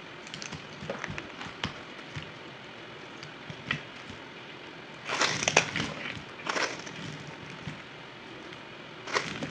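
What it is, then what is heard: Dry bar soap being cut. A yellow utility knife cuts and scrapes a solid, crumbly, dry white bar of soap, sped up to double speed. Short, dry, bright crackles and clicks come in irregular bursts, with louder, denser crumbling scrapes toward the middle and end.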